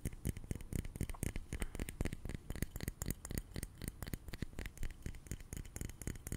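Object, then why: Liquid-filled glass facial globe. A small, hollow, round glass facial massage globe on a short handle, filled with blue liquid, is held in one hand close to the mic and tapped repeatedly with a fingertip and nail. The taps come quickly and unevenly, roughly four per second, and sound like dull, soft clicks with a deep, thumpy low end and very little ring.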